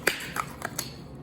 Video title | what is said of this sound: St. Patrick’s Day - It's a GREEN Irish Whiskey Cocktail - Daily Drink Demo | it's the best place to knock it so it'll whack it open you hear that click